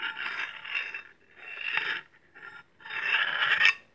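A large, solid stainless steel meat cleaver is held in hand and its blade is drawn along a steel honing rod in four separate strokes. Each stroke makes a bright, rasping metal-on-metal scrape with little low end, and the last stroke is the loudest before it cuts off sharply.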